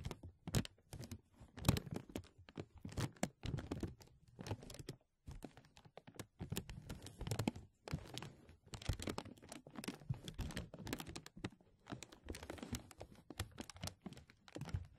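A thin, translucent plastic film stretched over the microphone is pulled and rubbed between the fingertips of both hands. It makes dense, close crinkling and crackling with soft low handling thumps under bright, sharp crackles. The bursts come in irregular waves, with brief quiet gaps around 5 and 8 seconds.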